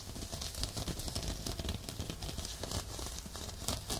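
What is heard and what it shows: Fingertips and short nails scratch across the rough surface of a textured, looped, off-white woven fabric exfoliating glove worn on a forearm and held just above a binaural dummy-head microphone. The sound is a steady, dense scratching and crinkling, with a low rumble underneath and a bright, hissy rasp on top that flares with the stronger strokes.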